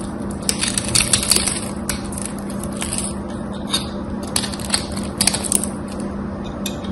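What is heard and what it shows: A solid gold-coated bar of soap, held in hand with other bars lying on the table, is carved and scraped with a metal blade so dry chips flake off. Crisp, bright crackling scrapes and sharp ticks come in uneven bursts over a steady low hum.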